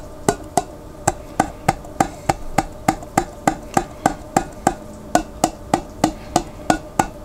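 Fingertips tap the rim and face of the white plastic lid on a large clear glass pickle jar, held sideways and partly filled with water. Twenty-three short, hollow, wood-block-like knocks come at a steady, moderate pace. Each has a brief pitched ring around 316 Hz that dies away quickly.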